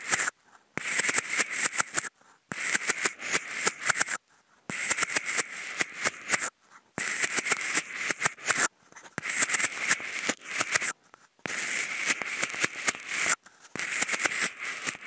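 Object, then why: Polystyrene foam food container. Wooden toothpicks scratch across the ridged side wall of a white polystyrene foam food container. The result is seven bursts of bright, dry, rapid rasping with little low end, separated by brief silences.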